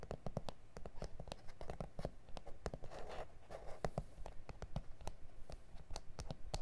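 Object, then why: Plastic cutting mat. Both hands quickly tap and scratch with fingertips and nails on a flat, solid A4 self-healing plastic cutting mat with grid lines. The result is a rapid, uneven run of short, dull taps mixed with soft scratchy rasps, all weighted toward low, thuddy tones with quick decay.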